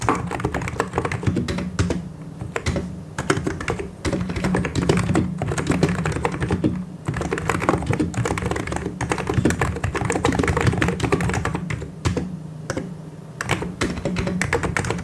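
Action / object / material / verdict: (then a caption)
tap / plastic mechanical keyboard / plastic / none. Both hands type continuously with their fingertips on a full-size mechanical keyboard with white and grey plastic keycaps and hollow switches. The result is a steady, dense stream of clacky keystrokes with a deep, hollow low end. Occasional brief pauses break up the otherwise unbroken flow.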